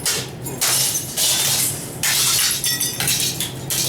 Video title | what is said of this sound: Lava show in Vík, Iceland (febuary 2024) | now it really sounds like glass